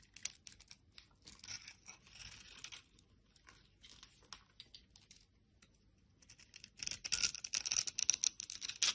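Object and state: Soap bar carved with a blade.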